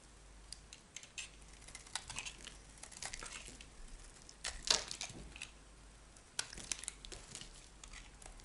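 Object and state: Bar of soap being shaved with a knife.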